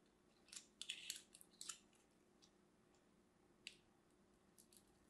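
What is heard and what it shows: A palm-sized solid bar of lavender and white striped soap is held in one hand while a craft knife, held by a hand with long red nails, scores a grid into its surface. Small cubes crumble off. Short, bright scratching and crunching carves come in a dense cluster early on, then sparser ones later, over a faint steady low hum.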